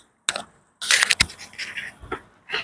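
The butterfly shaft of a cut-open metal throttle body from a Saga BLM is worked back and forth by hand close to the mic, giving a series of sharp, dry, bright clicking knocks and rattles with almost no low end or ring. The shaft is worn loose with a lot of free play, which is abnormal; this play is blamed for a noise that sounds like a broken bearing and for a vacuum change that makes the car sluggish.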